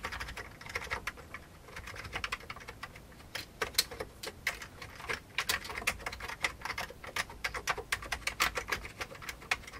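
Fingertips of both hands type on the keys of a full-size vintage beige plastic computer keyboard. A steady run of quick, bright clicks and clacks comes in uneven bursts, each keystroke short and sharp with almost no ring and little low end.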